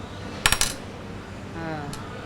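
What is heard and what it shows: Silver jewelry is dropped onto glass, giving three quick bright clinks close together near the start. It rings more than the dull sound of solid gold, and a faint tone and a small tap follow later.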